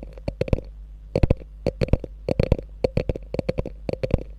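Long nails tap and scratch the top and front of a small, hollow beige chevron-quilted faux leather mini bag with a gold clasp. About nineteen short, crisp taps fall in quick clusters with brief pauses, each dying away almost instantly. A low, steady hum runs underneath.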